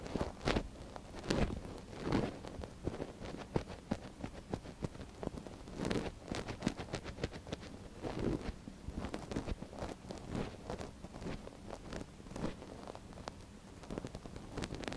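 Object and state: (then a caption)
Silicone ear of binaural microphone. A thin wooden stick scratches inside the canal of a soft silicone ear on a binaural microphone while a gloved hand steadies it. Many quick, dry scraping and rustling strokes come in uneven bursts, close and muffled with a low-heavy body and little high-end brightness.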